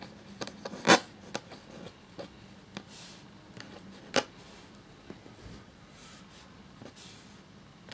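A black feather quill nib scratches across a thin, cream parchment-style paper sheet lying flat while writing. Soft, dry scratching strokes are heard, with two sharper, louder scrapes standing out among the lighter rasping.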